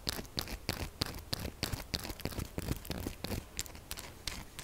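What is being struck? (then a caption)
Textured soap bar. Long nails rapidly scratch and tap across the faces and edges of a pink textured solid soap bar held tilted. The result is a quick, uneven stream of dry, gritty scrapes and short clicks with bright, crisp accents and almost no ring after each stroke.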